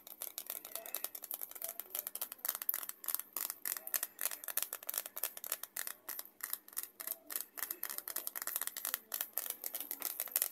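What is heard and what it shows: Long acrylic nails tap and crinkle a small, flat, empty-looking white paper envelope or folded paper held in both hands at chest height. A rapid, uneven stream of short, dry clicks and papery crackles follows, each dying almost instantly. The sound is bright and crisp, with nothing in the low end.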